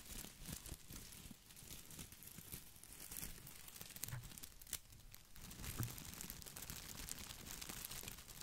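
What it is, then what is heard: Artificial boxwood ball with plastic leaves. Fingertips scratch and rub the glossy plastic leaves of an artificial boxwood ball held over and beside the microphone. The result is a steady, close-up crinkling and rustling with bright, crisp ticks and scrapes over a soft low rumble from the handling. Sharper snaps stand out now and then.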